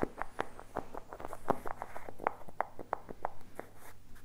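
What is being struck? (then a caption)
Small plastic jar with lid. A small, hollow blue and teal plastic tub with a lid and a printed label is tapped with fingertips close to the mic. A quick, uneven series of short, hollow plastic taps is heard, each with a mid-pitched knock that dies away almost at once. A low steady hum sits underneath.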